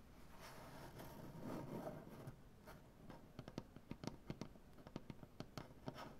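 Long dark-painted nails on both hands scratch and tap a solid light maple-style butcher block wooden tabletop. A soft, rough scratching fills the first few seconds, then around fifteen sharp, dry taps with almost no ring follow. The sound is quiet, with a woody low-mid tone.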